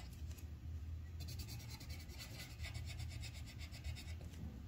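The tip of a yellow wooden colored pencil rubs across a thin white paper sheet on a clipboard, coloring in a flower petal. Quiet, quick back-and-forth scratching strokes make a bright, papery rasp that gets stronger after the first second, over a steady low rumble.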